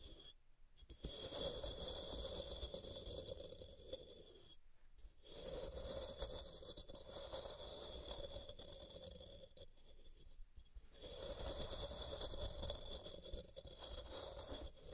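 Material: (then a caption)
Magnesium carbonate. Long purple-painted nails scratch along the sides of a palm-sized, solid white rectangular block of pressed gym chalk (magnesium carbonate) resting on a cork mat, and chalk dust falls off. The result is a steady, dry, gritty scraping with a soft rasp and a bright hiss, broken by brief pauses.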